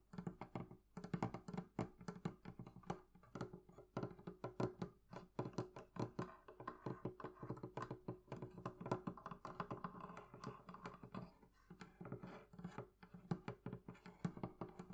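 Long painted nails and fingertips tap the wooden top and sides of a hollow, closed wooden barrel-shaped chest with metal bands, about 40 cm long. A steady, quiet run of quick, dull, hollow knocks and clicks sits mostly in the low and low-mid range, each dying away almost at once with no ring.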